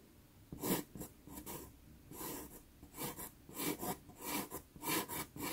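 A black pastel pencil hatches across a small taped sienna Pastelmat pastel paper card, making a series of short, dry scratching strokes. Each stroke is a soft, bright rasp with a gritty texture, separated by brief quiet pauses.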